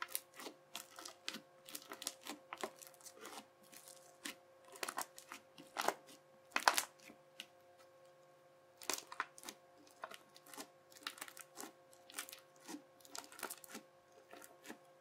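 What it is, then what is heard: Crunchy slime. A yellow plastic knife edge presses and chops into a ridged, bubbly sheet of teal crunchy slime, making a steady series of short, bright crackles and pops across the clip, with a few louder crunches. A faint steady hum sits underneath the crunching.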